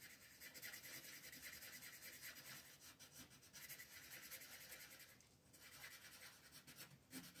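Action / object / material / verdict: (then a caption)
scrape / wooden colored pencil rubbing on a paper coloring page / paper / none. A pink wooden colored pencil rubs and shades the petals on a flat white paper coloring page. Soft, steady, bright scratchy strokes continue with a brief pause past the five-second mark and a slight dip near the end.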